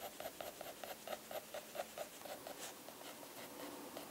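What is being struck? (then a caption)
Graphite pencil on thick drawing paper. A mechanical graphite pencil, held in a hand with long blue nails, scratches and shades across a Moleskine sketchbook page of thick drawing paper lying flat on a wooden desk. Quick, dry back-and-forth strokes come in short bursts at first, then blend into a softer, continuous rasp of shading.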